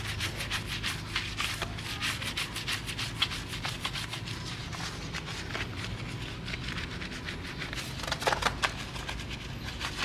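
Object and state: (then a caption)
Steel car wheel being scrubbed. A gloved hand scrubs the rim face and lug area of a foam-covered, pressed-steel wheel with round vent holes, mounted on a 1993 Honda Civic Hatchback, using a small detailing brush through wet foam. Quick, repeated bristle strokes make a bright, hissy scrubbing sound over a steady low hum, with a few sharper scratches standing out.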